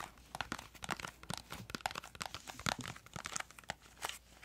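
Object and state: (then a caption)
Cardboard crayon box. Long acrylic nails tap and scratch a small, hollow, printed yellow-green cardboard crayon box whose contents are not visible. The result is a quick, uneven run of soft, dry clicks and papery scratches with a bright edge. Each sound stops almost instantly, with little low end.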